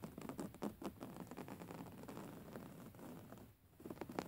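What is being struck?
Fabric-covered pillow.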